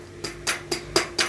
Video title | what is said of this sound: [바다사냥꾼아빠 TIP] 작살 낚시 입문자를 위한 기본 강의 101 - 작살편 ( 스피어건 Speargun ) | 제가 지금 손으로 쳐도 이렇게 많이 울리죠